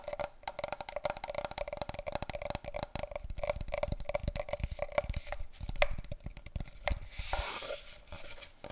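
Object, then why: Large cardboard tube. Fast tapping with long nails and fingertips on a large, long, hollow brown cardboard paper roll tube, held diagonally and then horizontally. The result is a dense stream of quick, dry, hollow taps with a steady mid-pitched resonance and almost no ring. Near the end there is a brief bright, scratchy rustle.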